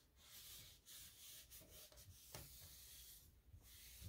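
A soft cloth held in the fingertips wipes the solid panelled drawer front of a light gray painted particleboard nightstand with black metal handles. The rubbing makes a quiet, steady, breathy swishing with a bright hiss over a low rumble, broken by brief pauses between strokes.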